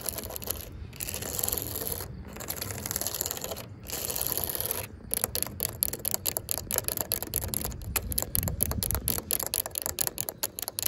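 Long pink acrylic nails scratch across the ridges of a yellow, ribbed, hollow plastic safety cap on top of a chain-link fence, then tap it. The first half is a steady, bright rasping scrape broken by brief pauses. It then turns into a fast run of sharp, dry plastic clicks with almost no ring.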